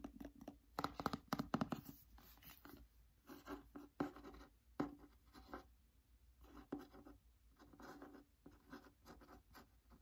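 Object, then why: Cloth-bound hardcover book cover. Fingernails tap and scratch the front cover of a cloth-bound "Anne of Green Gables" hardcover with gold lettering. Quiet, dry taps come in quick clusters between softer scratching passages, each tap dying away almost at once.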